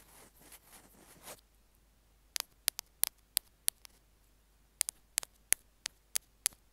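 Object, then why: Small plastic earphone remote tapped with metal tools. Metal ear-pick tools scrape and tap the casing of a small white plastic Apple earphone mic/remote. A soft, hissy scraping comes first, then a short silence, then a series of sharp, bright, very short clicks with no ring.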